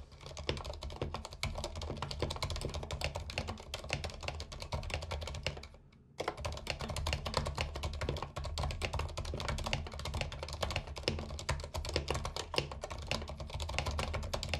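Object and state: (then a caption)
Plastic mechanical keyboard. Fingertips of both hands type on a compact white mechanical keyboard with plastic keycaps and a few green keys, resting on a cork-like mat beside a potted plant. A steady stream of quick, crisp plastic clacks with a deep, thocky low end fills the clip, stopping briefly around the six-second mark before the typing resumes at the same brisk pace.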